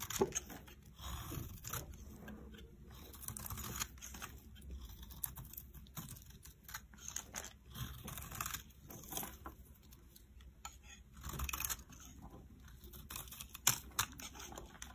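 A metal knife blade carves and scrapes crunchy flakes off a solid pale green bar of soap held in the hand. Quiet, dry crunching and scraping come in a steady run of short, bright crackles. Brief louder swells of crunch stand out near the middle and end.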